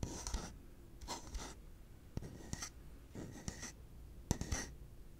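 A yellow hollow plastic pig piggy bank is held in the hands and scratched and tapped with the fingertips. Soft bursts of dry, bright scratching alternate with short, sharp taps that give a low, hollow thud. The overall level stays quiet and close.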